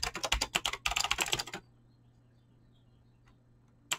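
A full-size mechanical keyboard with Razer green clicky switches and pink-blue PBT plastic keycaps sits on a desk while fingertips with short painted nails type fast on the keys. A rapid burst of sharp, bright clicky keystrokes fills the first second and a half, pauses briefly in the middle, and then gives way to near silence. A single faint tap follows, and one more keystroke lands at the very end.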